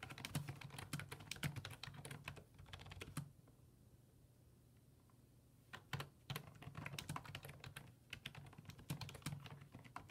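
Fingertips type rapid key presses on a black plastic full-size desktop keyboard with low-profile keys resting on a wooden desk. Quick bursts of sharp, bright clicking taps run over a steady low hum, stop for a quiet stretch of about two and a half seconds, then resume in fast flurries until the end.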